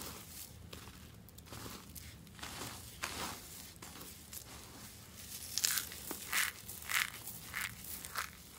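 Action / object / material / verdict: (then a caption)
scrape / soap shavings crushed by hand / soap / none. A pile of dry white soap flakes on a rubber mat is scooped up and crushed between bare palms and fingers with a crunchy, crumbling action. Bright, crackling crunches come in an irregular series, growing louder and sharper toward the end.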